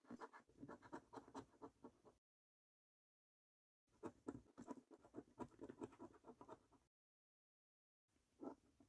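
A coin scrapes the latex coating off a thin, flat paper scratch card in quick, dry, rasping strokes. The scratching comes in three bursts separated by silent gaps, with the last burst short and fading out.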